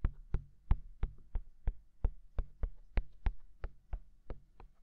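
Fingertips of both hands tap on the white silicone ears of a binaural microphone. There are fifteen soft, dull thumps, deep and muffled with almost no bright content, each dying away at once, in a slow, steady rhythm.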